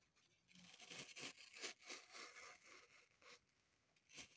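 Long pointed nails scratch along the side of a dug-up green floral foam brick held in the hands, with crumbs on the table. Quiet, dry, hissy scratching strokes come in quick, uneven bursts, mostly high-pitched with almost no low end, and end in a brief final scrape.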